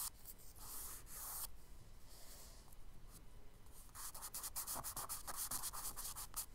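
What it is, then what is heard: Charcoal shading on kraft paper. A charcoal stick held sideways rubs and shades across a kraft paper sketchbook page in back-and-forth strokes. Soft, dry scraping with a bright, hissy edge starts as long sweeping passes, then quickens into a run of short, rapid strokes.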